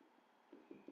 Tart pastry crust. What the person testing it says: vous allez savoir au son en tapant la pâte